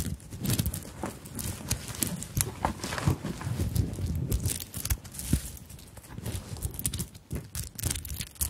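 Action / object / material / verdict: scrape / fabric handbag covered in sequins and beads / sequins, beads / none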